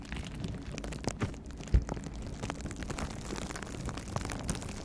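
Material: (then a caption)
Plastic. A clear plastic bubble wrap pouch, held in both hands close to the microphone, is squeezed and scratched with the fingers. The result is a steady, low, muffled crinkling and rustling, broken by a few sharper thumps and pops.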